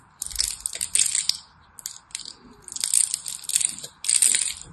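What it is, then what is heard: Soap bar being carved. A small knife blade carves and scrapes the surface of a hand-size solid bar of orange and white striped soap held in the hand, shaving it into crumbs. Dry, bright crunching and scraping come in quick bursts of short crackles separated by brief pauses, with almost no low end.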